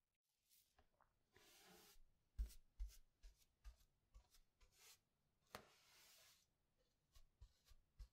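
An inflated yellow latex balloon, hollow and air-filled, is held in one hand with long red nails and rubbed and brushed across its surface with a makeup brush. Quiet, airy brushing swishes alternate with short, sharper rubbing strokes that give brief low thumps from the taut rubber.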